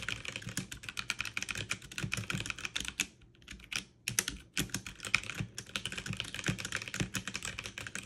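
Fast two-handed typing with fingertips and long nails on a backlit mechanical keyboard with plastic keycaps produces a rapid stream of bright, sharp clicks and clacks around 2.4 kHz, each dying out almost instantly over a faint low thud. The typing briefly slows to a near pause a little after the three-second mark, then resumes at full speed through the end.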